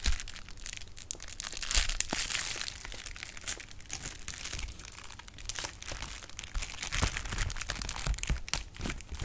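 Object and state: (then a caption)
Plastic bubble wrap. A sheet of clear plastic bubble wrap is crinkled and its bubbles popped with fingers. Dense, bright crinkling runs throughout, broken by sharp, dry pops and snaps, with louder bursts around 2 seconds and again after 7 seconds.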